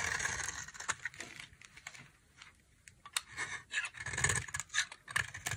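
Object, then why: Bar soap carved with a knife blade. A dry, solid, palm-sized pink Camay-style bar soap is held in one hand and carved with a utility knife blade, so shavings curl and crumble off. Crisp, bright scraping strokes come in irregular bursts with short ticking clicks and a faint low rumble, some passes louder and denser than others.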